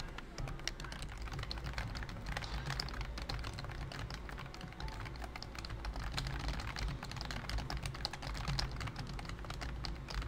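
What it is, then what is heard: Plastic computer keyboard. Fingertips type steadily on a pink plastic full-size BT21 COOKY keyboard with round keycaps and a hollow body. The result is a dense, continuous run of short, bright, clacky key taps with almost no ring, over a steady low hum.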